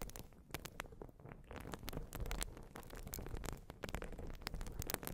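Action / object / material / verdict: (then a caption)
scrape / urethane foam sponge / urethane foam / none. A rectangular white open-cell urethane sponge, soft and porous, is held against the microphone and scratched and squeezed with long glossy nails. The result is a steady, close, crackling scratch with many sharp, dry ticks and bright bursts over a low, muffled rumble.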